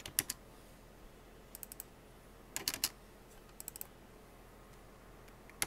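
Fingertips with blue-painted nails tap the hollow keycaps of a full-size black plastic computer keyboard in fast typing. About 14 sharp, bright clicks come in short bursts, each dying away almost at once, with faint quiet between them.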